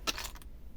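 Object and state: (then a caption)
Dry laminated paper that sounds like wood. Small dry charms made from several layers of paper glued together with stick glue are tapped together, giving two short, dry, woody clicks with bright high-frequency content and almost no ring. The layered, glued paper sounds like wood.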